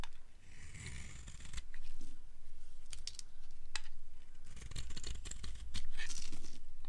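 A solid orange and white striped dry bar of soap, held in the hand, is carved with a flat cutter blade. It gives a run of crisp, irregular shaving scrapes with bright, short ticks over a steady low rumble.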